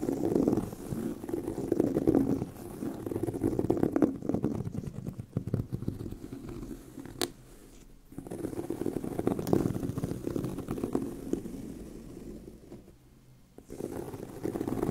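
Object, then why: Pebbled leather handbag. Fingernails scratch the textured surface of a tan pebbled leather handbag with a hollow bag body. A dense, rapid, uneven rasping sits mostly in the low-mid range with a warm, muffled tone. It breaks into bursts with brief near-silent pauses around 8 and 13 seconds.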